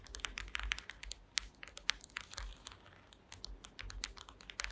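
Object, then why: Woven wooden slat mat tapped and scratched with long fingernails. Long green acrylic nail tips tap and scratch across the slats of a woven wooden slat mat. A rapid, irregular run of short, dry, bright clicks with no ring blends with soft scratchy rasps. The sound thins briefly just past the middle before the tapping picks up again.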